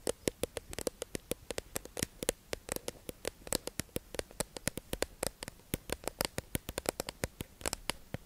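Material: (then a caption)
Plastic. Long acrylic nails tap and scratch a hollow, clear, tube-shaped plastic package of makeup sponges held in the hands. About 49 quick, dry, sharp clicks with a bright top arrive in an irregular, rapid patter over soft scratching, each dying away almost instantly.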